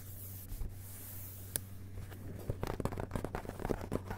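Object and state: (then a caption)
Hardcover book paper pages. Fingertips tap and scratch on the blank paper endpages of an open hardcover book lying on carpet, with the jacket flap showing. About a dozen soft, dull taps and light scratches come sparsely at first, then quicker and closer together, over a faint steady low hum.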